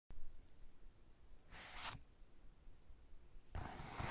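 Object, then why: Paper sketchbook page. Fingertips of both hands rub and scratch the blank white page of a spiral-bound sketchbook resting on a cork desk, and one hand lifts briefly at the end. A quiet low rumble runs underneath two separate bright, papery scratching bursts: one in the middle and one at the close.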